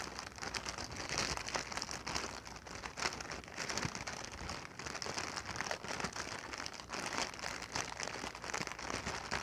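A clear, inflated plastic air-cushion packing pillow, hollow and air-filled, is held in the hands and crinkled and scratched with long painted nails. It makes a steady, dense run of bright crinkling and crackling with quick scratchy ticks and little low end. The sound stays at an even, soft level throughout.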